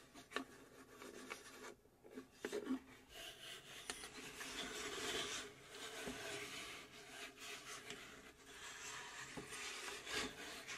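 Long pink acrylic nails scratch and tap the engraved panel on the flat bottom face of a small hollow plywood UGEARS puzzle safe box. Soft, bright scraping runs continuously, broken by a few sharp, dry taps with almost no ring.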